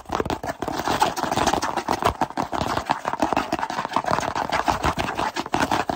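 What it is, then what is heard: Cardboard box. A small, hollow kraft cardboard box held in both hands is tapped rapidly with the fingertips on its sides and edges. The result is a dense, fast stream of dry, hollow taps centered around 880 Hz, with very short decays and light scraping between them.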